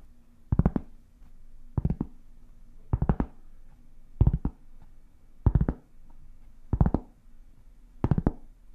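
A large, solid, round flat cork board is held up and tapped and scratched with long painted fingernails. Seven evenly spaced clusters of quick, dry fingernail taps stand out over a low, steady hum, each cluster dying away almost instantly with a soft, dull thud and a brief bright click.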